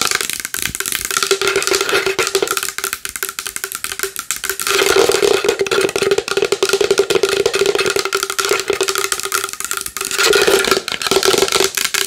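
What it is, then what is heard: Large wooden bowl. A large wooden bowl is tapped fast and hard with long nails, making a dense stream of bright, clicky knocks over a hollow tone around 400 Hz. The tapping grows louder for a stretch in the middle and again near the end, with each knock ringing only briefly.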